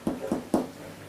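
A cranberry bread loaf, cooled for about four hours, is knocked three times, giving short, dull, hollow thuds centred in the low-mid range. The hollow sound shows the loaf is properly baked.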